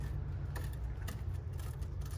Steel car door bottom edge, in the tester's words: Ça croustille. Ce petit bruit de rouille là.